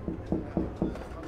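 A rigid full-carbon stand-up paddle board is knocked four times. Each knock gives a short, low, hollow-sounding tap that fades quickly, which matches the hollow construction of the board.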